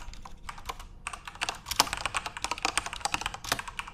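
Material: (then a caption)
Plastic. Fingertips type continuously on a backlit plastic Corsair mechanical RGB keyboard. Rapid, irregular bright clicks and clacks with very short decay run throughout, with a few louder key strikes standing out.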